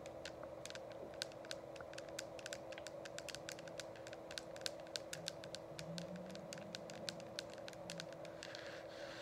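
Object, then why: Plastic diffuser shell. Long acrylic nails tap rapidly on the sides of a hollow, frosted plastic dome essential oil diffuser, making quick, bright, dry clicks that sound like typing. A steady low hum and soft background noise run underneath throughout.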